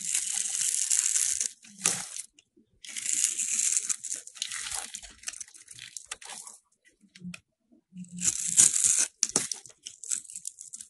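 A solid yellow rectangular soap bar held in the hand is scored and shaved with a metal box cutter blade. Crisp, bright scraping and shaving rasps come in three longer bursts separated by brief pauses, with short ticks and crumbly flicks in between.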